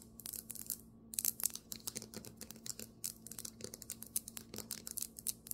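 Fingernails tap quickly on a marble table top, making a rapid, uneven run of sharp, bright clicks that stop almost at once. A faint, steady low hum sits underneath the quiet tapping.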